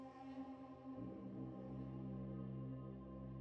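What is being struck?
Nothing is struck.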